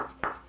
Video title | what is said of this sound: CBC News: The National - Artemis II sends back images of Earth | If you knock on it, it makes this very nice solid sound.